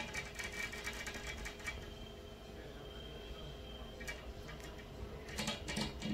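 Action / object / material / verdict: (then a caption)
tap / large glass window pane / glass / none. Long fingernails of both hands tap from outside on a large, flat, fixed glass pane of a hotel room window set in a dark frame. Light, rapid clicking taps cluster near the start and again toward the end, with a quieter, softer stretch in between.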